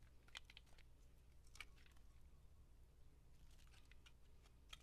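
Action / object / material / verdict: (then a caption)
scrape / bar of soap shaved with a metal blade / soap / none. A metal blade shaves curls from a solid white soap bar with gold flecks held in the hand. Short, crisp scraping crackles come in quick bright bursts, fading almost instantly, over a steady low hum.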